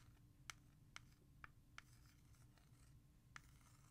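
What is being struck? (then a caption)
Plastic CD jewel case. Long fingernails tap and trace the letters on the front of a hollow plastic CD jewel case held in the hand. Five sharp, bright clicks, each with a ringing tone near 2.2 kHz, cut off almost instantly. Faint scratchy tracing fills the gaps over a low background rumble.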